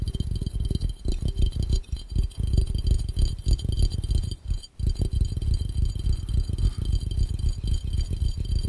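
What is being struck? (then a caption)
Glass fishbowl. Fingertips tap fast on the curved glass of a hollow, empty glass fishbowl held over the lens. The taps come in a rapid, uneven patter of dull, low, hollow thuds with almost no brightness and very short decay. There is a brief pause near the middle before the tapping resumes.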